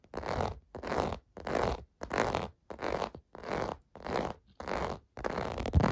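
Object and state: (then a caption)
Plastic bubble bath mat scratched. Fingertips scratch across the raised bubble domes of a clear blue plastic bath mat resting on carpet. About nine dry, rasping scratch strokes come in a steady rhythm, each a broad, gritty burst with a low rumble underneath, separated by brief silences. The last stroke runs longer and ends with a slightly sharper scrape.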